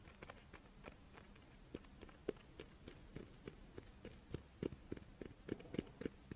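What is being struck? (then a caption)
Chocolate-filled rice wafer. A crisp rice-wafer chocolate monaka is held in both hands and scratched and tapped with long painted nails. Quiet, irregular dry clicks and taps rise over a soft scratching hiss, each one short and dead with a faint bright edge, growing a little denser and louder toward the end.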